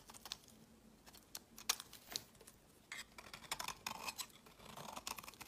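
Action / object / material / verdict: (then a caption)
scrape / bar of soap scraped with a metal knife blade / soap / none. A solid pale yellow soap bar with an orange layer is held in the hand and scraped into fine, crumbly shavings with a utility knife blade. A series of short, crisp, bright scraping strokes comes through, some as sharp ticks and others as brief rasping passes. Quiet gaps fall between them, and the strokes grow busier toward the end.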